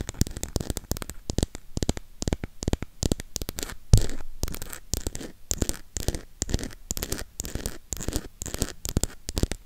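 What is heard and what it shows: Long pink acrylic nails tap and scratch the edges and back of a burgundy cardboard eyeshadow palette. A rapid, uneven stream of short, dry, bassy taps mixes with brief scratchy strokes, and one louder knock lands about four seconds in.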